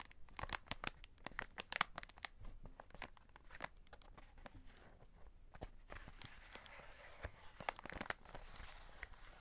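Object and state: Cardboard chocolate box with plastic window.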